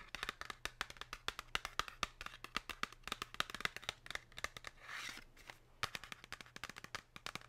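Long pink nails tap rapidly on the front face of a flat, thin Lindt Excellence 99% cacao cardboard box holding the chocolate bar, producing dozens of crisp, short, dry clicks. The tapping briefly gives way to a soft scratchy rustle around the middle before resuming, over a faint low steady hum.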